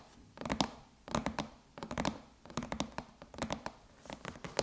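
Long chrome nails tap a closed silver aluminum MacBook lid bearing the Apple logo, striking with both fingertips and nail tips. Quick clusters of light, clicky taps come in about six bursts separated by short pauses. Each tap has a faint low metallic resonance around 200 Hz and a bright tick on top.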